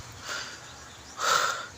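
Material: Nothing is struck.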